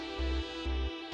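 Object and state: Nothing is struck.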